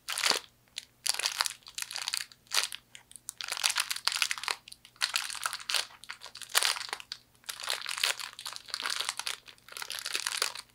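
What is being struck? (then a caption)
Fortune cookie in a plastic wrapper. A small, hollow, crisp fortune cookie in a clear plastic wrapper is pressed and its wrapper crinkled by fingertips with long nails. Bright, dry crinkles and crunches come in irregular bursts separated by short silences, with almost no low end. Each burst stops quickly, leaving a faint steady low hum underneath.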